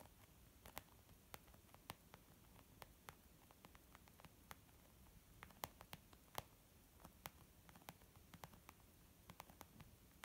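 Fingernail tips tap slowly on a white textured leather zip pouch used as a makeup bag, giving about thirty short, crisp ticks spread irregularly across ten seconds. Each tap is a dry, bright click with almost no ring, over a quiet, steady hiss.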